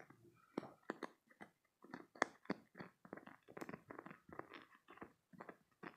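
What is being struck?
Hollow spiky silicone squeeze toy.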